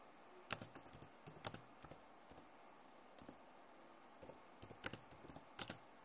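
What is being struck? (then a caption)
Plastic laptop keyboard keys. Long nails and fingertips type on the keys of a backlit plastic laptop keyboard. Quiet, bright, sharp clicks come in irregular bursts, each dying away almost at once, with near-silent pauses between them.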